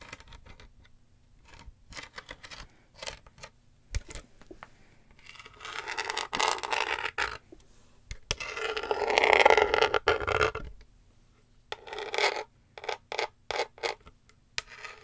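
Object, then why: Woven rattan basket. A small, hollow, empty rectangular woven rattan/wicker basket with a black base is held up close and scratched and tapped with long fake nails along its woven sides. Quick, dry, clicky taps come in scattered runs, broken by two longer rasping scratch passages around six to seven seconds and nine to ten seconds. Those scratches are bright and woody with a midrange body near 850 Hz and almost no ring.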